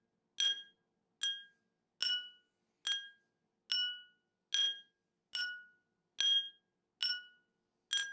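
A metal teaspoon taps the rim and outer wall of a small, round, clear glass tumbler partly filled with water. Ten bright, separate clinks are heard at a slow, slightly uneven pace. Each one rings briefly with high tones before fading into silence.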